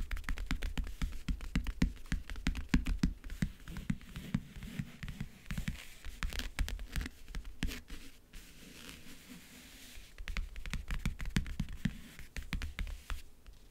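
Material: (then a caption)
Wood. Fingernails tap and scratch the map-print lid and front edge of a closed, hollow backgammon case. Quick, dry taps with a low, hollow thump come in dense bursts, easing into a quieter stretch of soft scratching before the tapping picks up again.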